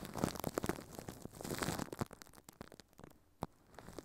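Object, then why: Thin plastic film over a microphone. Furry puppet hands crumple and crinkle thin clear plastic film wrapped over a microphone head. Dense, close crackling and crunching fills the first two seconds, then thins to scattered soft crinkles and pops. One sharp pop stands out near the end.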